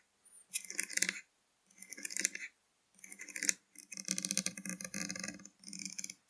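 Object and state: Plastic drink bottle.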